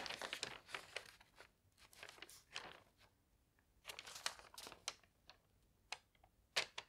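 An open paper newspaper lying on a bed is held in both hands while a page is turned and the pages are then smoothed flat. Quiet, bright crinkling and rustling come in dense bursts, then a short lull and more rustles, and finally a few crisp, sparse crackles with almost no low end.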